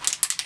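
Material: Plastic.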